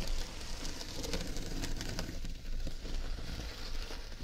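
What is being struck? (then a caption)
Woven jute tote bag. Long red nails tap and scratch across the woven jute and printed owl of a large jute tote bag with an owl print. The result is a soft, steady, crackly patter of scratches and light taps with a low, muffled body and little bright content.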